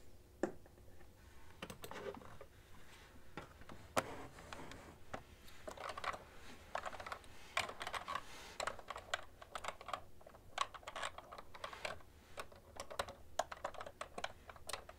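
A cream plastic ergonomic keyboard with hollow keys is typed on with fingertips and long nails, with one hand briefly off the keys at the start. Quick, light clicks and clacks run steadily for the full length, with a few sharper, brighter keystrokes standing out. Each hit is dry and dies away almost at once.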